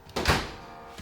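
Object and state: Hollow, fully dried meringue.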